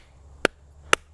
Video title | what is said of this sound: Trad Climbing Basics- Placing Your Nuts! | there's no hollow sound on it